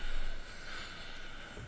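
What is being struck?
Nothing is struck.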